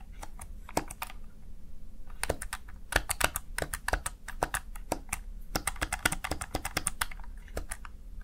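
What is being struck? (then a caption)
Plastic gaming keypad keys. Fingertips rapidly type on the keys of a small backlit plastic Razer Tartarus Chroma gaming keypad, producing a quick, irregular run of short, sharp clicks with bright tops. A low, steady hum sits underneath throughout.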